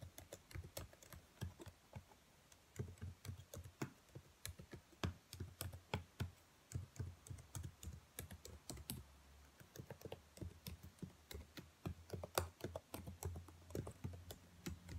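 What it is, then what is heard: Plastic laptop keyboard. Long nails tap and type on the black plastic keys of a dark laptop keyboard, making a steady run of short, bright clicks over a soft low thump. The clicks come quickly and irregularly, each dying away almost at once, with a faint low hum underneath.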